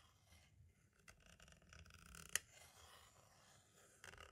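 A pointed tool tip traces along the left edge and window area of a small, hollow white plastic audio cassette shell. It makes a quiet, bright, scratchy scraping with one sharp click standing out midway and a short rougher scrape near the end.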